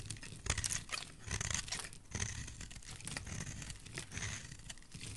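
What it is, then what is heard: Bar of soap being shaved. A utility knife blade scrapes and shaves a solid white oval bar of soap, peeling off thin white curls. The strokes come in irregular bursts of crisp, crackly scraping and crunching, with bright highs over soft low thuds.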